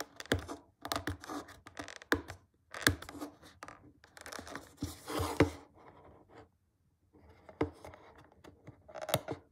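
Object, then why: Small cardboard box. A thumb and short nail scratch along the yellow side edge of a small, flat, closed, printed cardboard retail box for a BlackWeb glass screen protector (iPhone SE 2.0, iPhone 7 or iPhone 8), which rests on a table. Dry, papery scratching and scraping comes in uneven bursts with sharp little clicks, a low hollow tone around 290 Hz and bright rasp on top. A denser scrape builds just after the 5-second mark, then a brief silence near 7 seconds before the scratching resumes.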